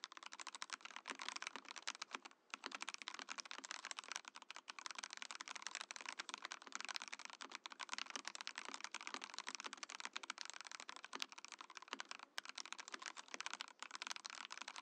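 Fingertips type fast on a compact Mojo68 Mojopad mechanical keyboard with a translucent acrylic/plastic case and white and orange PBT-style plastic keycaps. The result is a dense, steady stream of short, bright plastic clacks with almost no low end, broken only by a brief pause near the start.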